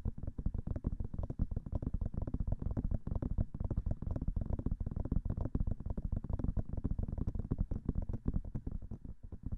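Long manicured nails tap quickly on both white silicone ears of a binaural microphone. The result is a steady, dense stream of soft, dull, low thumps with almost no brightness and very short decay.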